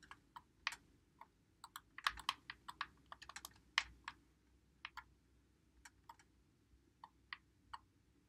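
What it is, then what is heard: Plastic game controller. A white Xbox One controller with a hollow plastic body is held in both hands while fingertips press and click its buttons and thumbsticks. About twenty quick, dry, bright plastic clicks come at an irregular pace, some in fast clusters, each dying away almost instantly over a faint low background noise.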